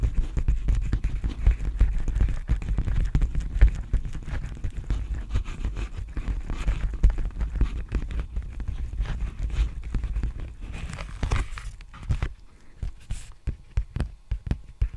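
A large, empty black padded bubble mailer with a flexible plastic surface is held upright and tapped and scratched with fingertips. Dense, low, dull thumps and soft scratching run through most of the clip, then thin out into sparser, separate taps near the end.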